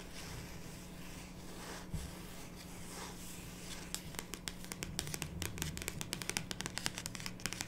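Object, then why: Cardboard card box. Long pink nails scratch and then tap the top of a small, closed, pink printed cardboard card box holding cards and resting on a wooden table. The first half is a soft, continuous scratching rustle, followed by a run of quick, crisp, bright taps that die away almost instantly. A faint, steady low hum runs underneath throughout.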